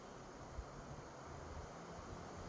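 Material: Nothing is struck.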